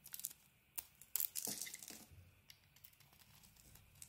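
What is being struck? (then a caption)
Solid bar of soap. A blade carves into a patterned solid bar of soap with a cream interior, giving a quiet run of bright, crisp scraping and crinkling cuts. The short, dry strokes come unevenly, with a denser cluster of shaving sounds in the middle of the clip.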